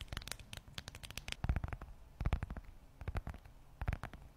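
A closed, hand-sized red textured leather Michael Kors zip wallet, held near the microphone, is scratched and tapped on its leather surface with long acrylic nails. Quick, irregular taps and scratches come in loose clusters, each a short dull thump with a brief bright click that dies away almost at once.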